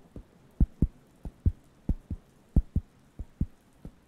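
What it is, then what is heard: Wooden coaster. Fingertips tap and scratch a round, flat, thin wooden (cork-like) solid coaster held near the microphones. About 13 short, dull, low thuds land in loose pairs, each dying out almost instantly with no ring.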